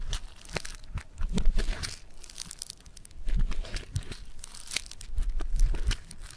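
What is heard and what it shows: A hand-sized solid lump of gold-yellow foam bead clay (floam) on a marble surface is squeezed, pulled and crunched with fingertips and thumbs. It gives dense, irregular crackling and crunching bead sounds with soft low thumps and bright bursts of crackle that swell and fade.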